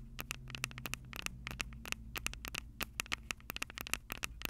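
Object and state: Metal microphone capsules tapped and scratched with nails.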